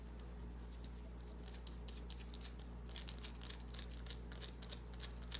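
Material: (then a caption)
Soap. Long nails scratch a small, solid white bar of soap with carved scratch marks as it is held in the hand. The result is a quiet stream of rapid, bright, crackly scratching and light ticks over a steady low hum, with a couple of sharper clicks near the end.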